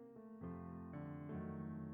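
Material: Nothing is struck.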